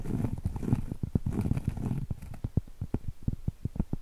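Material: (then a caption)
Cork. Long stiletto acrylic nails tap and scratch on a round, flat, solid cork trivet. For the first two seconds, dense, low, rustling scratches blend with the taps. After that the sound thins into separate short, dull, low-pitched taps that stop almost instantly.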